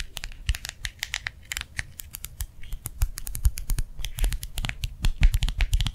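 A small round clear plastic gel-filled hand warmer pad lies on a palm and is tapped fast with the fingertips and nails of the other hand. Dense, quick dry clicks with bright edges sit over soft, low thuds, the taps running close together without a break.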